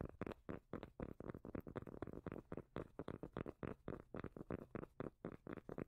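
A round cork lid is held edge-on in one hand while the long nails of the other hand tap and scratch across the cork. The result is a rapid, uneven run of short, deep, muffled thuds with soft scratchy texture and no ringing.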